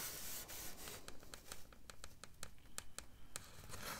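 Hands with long dark nails rest on and grip the edge of a large, flat, white, solid styrofoam (polystyrene foam) slab lying on a table in front of the mic, rubbing and scratching it. The result is a quiet, steady bed of rubbing punctuated by a fast, uneven series of short, bright, squeaky scratches.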